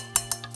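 A metal reflector on an Ulanzi LT028 light is tapped four times, two sharper taps followed by two softer ones. Each gives a bright, thin, high-pitched click with almost no ring. It sounds like metal, unlike another light's plastic reflector.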